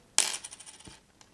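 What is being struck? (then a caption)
Small plastic token. A white plastic one-mil Mississippi sales tax token, one of the uncommon white plastic ones, is dropped and lands with a sharp, bright clack. A few fainter, high-pitched taps follow as it settles, and the sound is plainly that of plastic.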